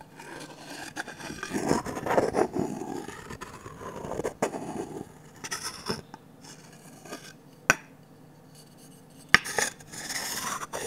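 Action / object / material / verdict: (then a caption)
tap / varnished wooden ladle tapped with a wooden stick / varnished wood / none. A medium, glossy orange varnished wooden ladle with an empty bowl is tapped with a wooden stick on its handle and bowl. Quiet scraping, rubbing and light ticking fill the clip, broken by two sharp, bright knocks near the end that die away almost at once.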